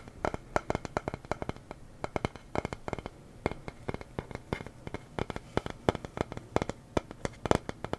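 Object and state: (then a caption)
Wooden sign. A small wooden sign reading "the silly honest kind" is tapped rapidly and irregularly. Dozens of short, dry knocks come in uneven bursts, each dying away almost instantly, with a hollow woody tone over a quiet background.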